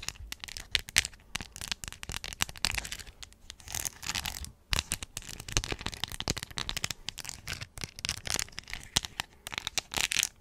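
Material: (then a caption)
Plastic, rhinestone. Long acrylic nails tap and scratch over a hand-sized, hollow Hello Kitty plastic phone case covered in crystal rhinestones with a resin bow and face. The result is a dense stream of quick, bright clicks and gritty scratching with almost no ring, and brief pauses near the four-second mark.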